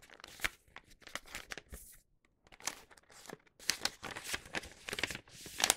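A flat, empty paper gift bag with a star print is unfolded and opened by hand. The paper rubs and crinkles in a quick run of dry, bright rustles and crackles, with brief pauses between them.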